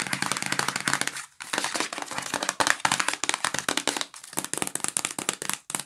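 A yellow cardboard sandwich bag box held in the hands is tapped and scratched quickly with fingernails on its flat sides and edges. Dense, crisp clicks and dry scratches run almost without a break, with a short gap just before the midpoint and another near the end. The sound is bright and thin with very little low end.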